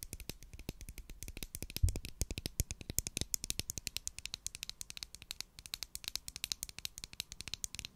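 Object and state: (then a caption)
Plastic glue stick tube. Long acrylic nails rapidly tap the sides and cap of a large white plastic Pritt glue stick, a hollow cylindrical tube held in hand near the mic. The result is a dense stream of short, dry, bright clicks with a light hollow low body, plus one louder thump just before the two-second mark.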